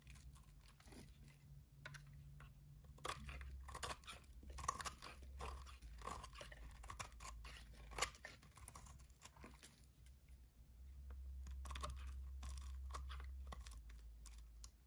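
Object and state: Dry soap bar cut with a blade.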